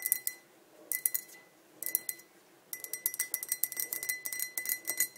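Long nails tap the rim and sides of a tall, clear, empty glass pint tumbler. Three short bursts of bright, dry clicks are followed by a longer, faster run of clinking taps. A faint, steady glassy ring sits under the clicks, and each tap dies away almost instantly.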